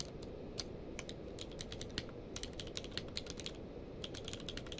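Both hands type rapid key presses with their fingertips on a full-size plastic mechanical keyboard with a blue-grey case and white and grey plastic keycaps, lying on a blanket. Quick, bright clicks come in uneven bursts; each dies away almost instantly over a steady low background hum.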